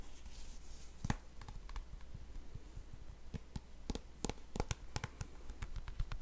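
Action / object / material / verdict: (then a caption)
tap / plastic hand cream tube / plastic / none. A small white and yellow plastic hand cream tube that appears full is held in both hands while fingernails scratch and tap along its surface. Sharp, bright clicky taps and soft scratching rise over a quiet, steady low hum, and each tap dies away almost at once.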